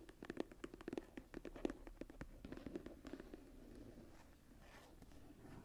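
Long nails tap and scratch the cover of a smooth brown leather journal lying closed. A rapid flurry of quick, dull, muted taps with a mid-low body fills the first half, then gives way to a soft, steady scratching hiss that fades toward the end.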